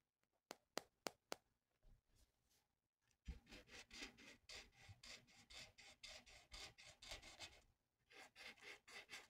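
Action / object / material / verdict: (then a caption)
scrape / thin paper sheet rubbed with a felt-tip marker on a table / paper / none. A felt-tip marker colors a thin, flat paper coloring sheet resting on a table. Four sharp ticks open the clip; after a short pause, a steady run of quick, bright, scratchy rubbing strokes follows. The strokes break briefly near the end, then resume at a soft, close level.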